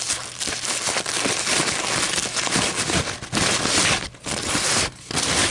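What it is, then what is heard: Paper coffee filter being crumpled. A single thin white paper coffee filter is held in both hands above a table and crumpled and crinkled with fingers and long nails, ending squeezed in one fist. The result is a dense, bright, continuous crackling rustle with little low end, briefly dipping in level a few times before rising again.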